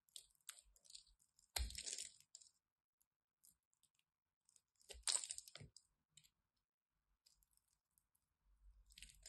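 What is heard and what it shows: A craft knife carves the edge of a solid purple and white striped bar of soap into crumbly chunks. Quiet, bright crunching and scraping comes in short bursts, with two louder, denser crumbling passes and faint ticks of falling bits between them.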